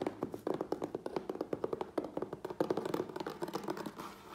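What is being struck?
Corrugated cardboard box.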